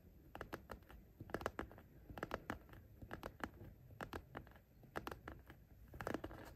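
Short nails tap and lightly scratch the top edge of a patterned fabric zippered pencil case, right next to the zipper. Quick, soft, dry ticks come in uneven clusters over a faint scratchy rustle, and each tap dies away almost instantly. A steady faint high hiss runs underneath throughout.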